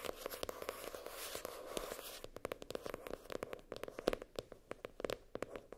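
Long nails scratch the hard cardboard cover and metal spiral binding of a floral-printed hardcover spiral notebook. A steady, bright rasp of scratching over the first two seconds gives way to a quick, uneven run of sharp, dry clicks and taps as the nails catch on the spiral, each dying away almost at once.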